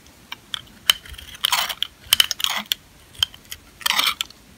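A metal utility-knife blade scrapes and shaves the surface of a palm-sized, solid, dry, old purple lavender soap bar held in one hand, with curled shavings piling up. The sound is a series of about fifteen short, crisp, bright scraping clicks and rasps, some drawn out into brief shaving strokes, with almost no low end.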